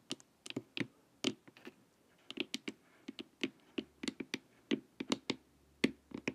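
Long nails tap the sides of a glossy hollow plastic LED face mask, making quick, dry clicks with a hollow low body and a bright top. The taps come in uneven bursts with short pauses and die away almost at once.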